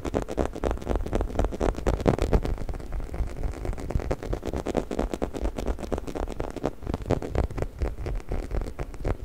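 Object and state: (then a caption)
Rubber chicken toy. A hollow orange textured rubber squeaky chicken toy, about 25 cm, is held close and scratched and rubbed along its bumpy body with fingertips and nails. Dense, rapid scratching and rubbing strokes with a heavy low-frequency thump run steadily throughout, each stroke short and dry.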